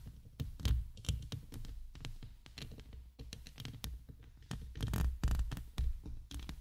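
Long acrylic nails scratch and tap the bare, dark metal wire-mesh grille of a large hollow USB microphone with a row of rhinestones at its base. The result is a dense run of deep, booming thumps and muffled knocks with short decays, mixed with faint bright scratchy rasps.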